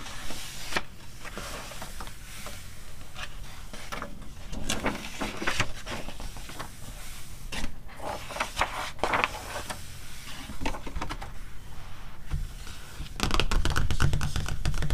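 Long nails tap and scratch the glossy cover and pages of a thin, softcover paper magazine, and the cover is flipped before the magazine ends up closed. Irregular soft taps and brief, bright scratching strokes sit over a steady low rumble, building to a louder, denser flurry of rustling near the end.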